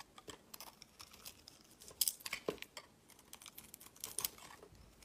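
A metal utility blade slices and scrapes thick shavings off a solid oval soap bar with a white exposed face. It makes a quiet, rapid series of crisp, bright scraping and crunching sounds with almost no low end, each cut stopping dead. A few louder, sharper cuts stand out around the middle and near the end.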